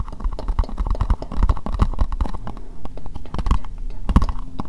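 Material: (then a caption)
Plastic. An empty, hollow, translucent pink plastic bowl is tapped and scratched with long nails near the microphone. Rapid, dense taps land as short, low, hollow knocks that die away almost at once, with a thin scratching texture running between them.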